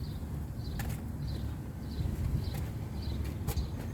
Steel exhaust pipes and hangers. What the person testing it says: I didn't find anything loose or anything broken here.